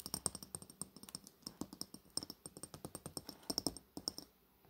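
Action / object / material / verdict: tap / metal-coated glass cosmetic bottle / glass / none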